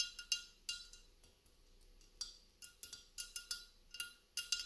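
Long nails tap and scratch a hollow, empty mercury glass candle holder, a gold-speckled glass hurricane cup resting on a wrought iron stand. It makes a quiet series of short, bright glassy clinks centered near 2.8 kHz that die away almost instantly, with soft scratchy noise between the taps and almost no low end.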